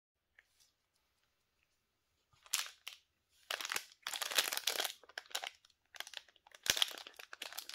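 A small, solid Nivea bar of soap, still sealed in its pink printed plastic/paper wrapper, is handled and squeezed by black-gloved fingers. After a couple of faint ticks and a near-silent pause, the wrapper crinkles and crunches in bright, dry bursts that fade quickly.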